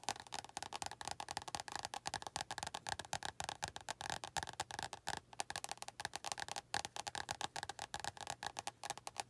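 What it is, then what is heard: Paperback book tapped with nails. Long nails tap rapidly on the cover of an orange paperback book, which is then held in one hand with the fingers resting on the cover. Dozens of quick, dry clicking taps are heard, each with a papery mid tone around 800 Hz and a bright edge. Every tap dies away almost instantly.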